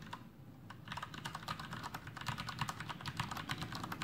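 Fingertips of both hands type continuously on a full-size black plastic Masterkeys Pro M mechanical keyboard with Cherry MX Brown switches and blue backlit keycaps, resting on a desk. After a few sparse keystrokes, a rapid, steady stream of short, bright clacks follows, each with a low thock from the keys bottoming out. The clicks die away almost instantly.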